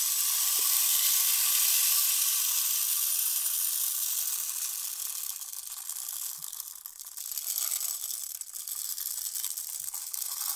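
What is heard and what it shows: A tall clear plastic rain stick tube, about 40 cm long with a green cap and filled with colourful small beads and pins, is held upright and turned and tilted by hand so the beads cascade inside. It makes a continuous, bright, hissing patter almost entirely in the high range, with no low end. The flow is steady at first, then thins and grows more uneven after about five seconds.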